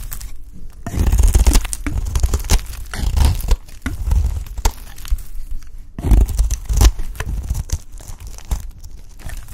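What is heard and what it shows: A metal blade scrapes along the edge of a solid purple dry bar of soap, shaving thin flakes off. Each stroke makes a dry, crackling, tearing rasp in repeated bursts with brief quieter pauses between them, with a heavy low thump and a bright gritty hiss.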